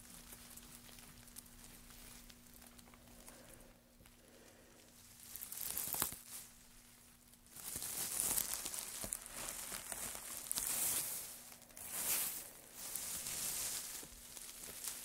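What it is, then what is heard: Pile of wood shavings. White-gloved hands drop thin, light wood shavings onto a pile, then press and rub them. After a quiet stretch, bright, dry crinkling and crackling rustles swell in uneven bursts that grow louder toward the end, over a faint steady low hum.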